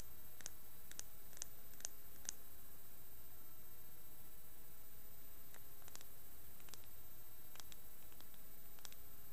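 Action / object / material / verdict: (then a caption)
tap / mussel shell / shell / none. A small, dark mussel shell with both valves still attached, opened, hollow and empty, is held in both hands while long manicured fingernails scratch and click across its surfaces. Quiet, sharp, bright clicks and faint scratches come in a cluster over the first couple of seconds, then in scattered bursts later on. A steady low hiss runs underneath throughout.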